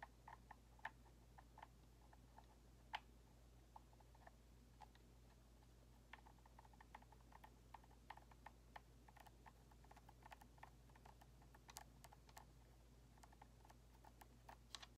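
Long nails tap on a white hollow plastic Xbox controller while fingers click its thumbstick. Quiet, sharp, dry clicks and taps come in an irregular stream over a steady low hum, each one brief with a bright, ticking edge.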